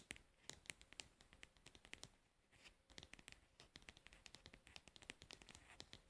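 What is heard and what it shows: Long nails tap and scratch the pink lid and the label of an upright plastic cosmetic pad jar. A quiet, rapid series of sharp, bright clicks has very short, dry decay, mixed with light scratchy rustling. The tapping eases briefly near the middle, then picks up again.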